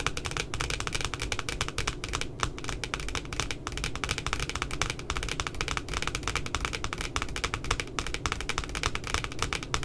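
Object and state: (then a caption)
Laminated cardboard notebook cover. Long nails tap rapidly and steadily near the top edge of a cute puppy notebook's laminated, glossy cardboard cover. The result is a dense stream of short, dry, bright clicks over a low, hollow thud, kept at an even level for about ten seconds.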